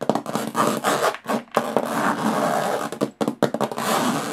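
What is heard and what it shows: Long fingernails tap and scratch the textured metal lid of a small, hollow aluminum briefcase, alternating fast and slow. Dry, mid-range scratching runs in bursts broken by short gaps, with quick taps that die away almost at once.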